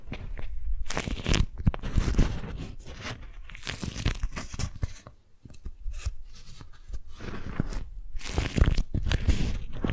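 A strawberry-print, beeswax-coated cotton food wrap is crumpled into a small bundle and squeezed with long nails. It gives waxy, crunchy crinkling that rises and falls in dense bursts of stiff-fabric crackle, dips briefly near the middle, then swells again.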